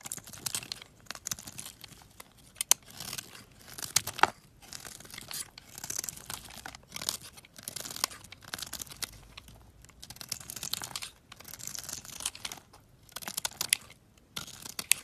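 A box-cutter blade scrapes and carves a solid olive-green bar of soap, with shavings piling up beside it. Bright, dry, crinkly scraping strokes come in quick repeated bursts with brief pauses, each dying away almost instantly with little low end.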